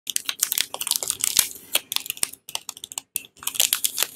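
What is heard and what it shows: Fingertips and painted nails scratch, press and crinkle the glossy blue plastic wrapper of a small, solid bar of Tibet Luxury soap held in both hands, starting to unwrap it. Dense, bright crinkles and sharp little clicks come in quick bursts, with brief silent pauses, and there is almost no low end.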